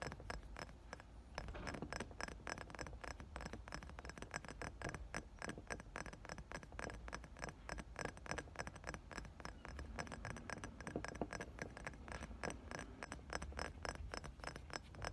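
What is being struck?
Glass perfume bottle with liquid.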